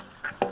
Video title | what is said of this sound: Annual maintenance alternative wastewater treatment system | shake it up and down like that you can hear that ball